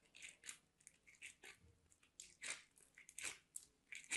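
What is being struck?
Soap bar on a metal box grater.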